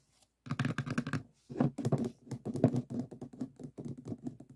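Fingertips and short nails tap rapidly on the walls of two upside-down stacks of hollow, empty white plastic multi-use cups standing on a table. The result is quick, dense bursts of dull, hollow plastic tapping with a low, muffled body and very short decay, separated by brief pauses.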